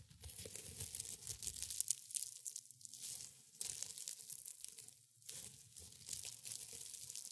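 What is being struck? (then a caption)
Dried rosebuds and petals. Fingers in black and gray felt gloves crush a pile of brittle dried rosebuds and petals resting on a white cloth. The result is dense, bright crunching and papery tearing in steady bursts, with brief quieter pauses near the three- and five-second marks.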